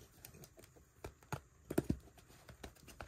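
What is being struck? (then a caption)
Paperback book (paper). Fingertips tap and handle the glossy printed cover of a small paperback book with a solid stack of paper pages, held flat in both hands over a carpet among other untouched books. About 16 light, dry, keyboard-like clicks sound, each dying almost instantly, with a soft low-mid body and little brightness. The louder taps bunch together near the middle.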